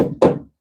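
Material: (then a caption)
Metal. A soft face hammer whacks the clamped, gasketed metal joint on the turbo boost piping of a twin turbo Dodge to seat it before the clamp is tightened further. A single solid, midrange knock rings briefly and fades within about a quarter second. The joint sounds solid, with no boost leak.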